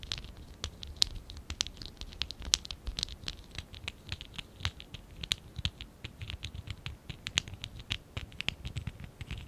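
Fingertips and nails scratch and rub the surface of a small, hollow stack of lilac and dark blue ABS plastic Lego Classic 11017 bricks held in both hands. A steady run of quick, dry, bright clicks and scratches comes through with almost no ring, over a faint low rumble.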